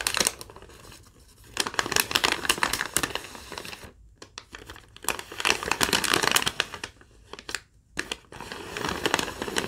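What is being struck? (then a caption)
Thin lined paper sheet. Long nails scratch and crinkle a thin sheet of yellow lined legal-pad paper. The result is bright, dense crackling and rustling in bursts, with brief near-silent pauses around the 4- and 8-second marks.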